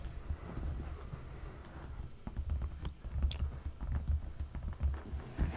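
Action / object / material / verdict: tap / padded leather sofa cushion / leather / none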